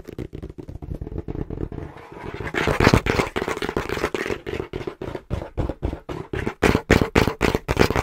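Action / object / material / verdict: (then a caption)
tap / cardboard box / cardboard / none. Fingertips tap quickly on the front panel of a small, brown, hollow cardboard box held in both hands. About 35 short, dry, hollow thuds with a low-mid body come in a fast but uneven rhythm, roughly four per second. Some taps carry a brighter papery click and grow louder toward the middle and end.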